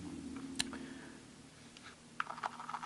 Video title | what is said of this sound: Shooting a world war 1 German luger | Sounds like plastic. These are actually wood grips.